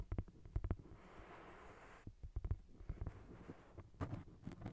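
Fingernails tap and scratch the cover of a thick paperback novel, a solid block of paper. Quick bursts of dull, low, muffled taps are heard, with a soft, steady scratching hiss in between. The taps die away almost instantly, with no ring.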